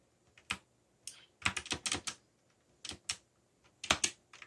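Fingertips type on a backlit mechanical keyboard with black plastic keycaps, producing bright, crisp key clicks in irregular bursts and clusters. Each press is short and snappy with almost no ring and little low-end weight, with brief quiet pauses between flurries.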